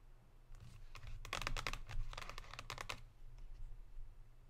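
Long pink nails tap sparsely on a Lindt cardboard chocolate box lying on a table. The result is a quick run of short, dry, bright clicks that die away almost at once, uneven in timing and clustered in the middle of the clip, over a steady low hum.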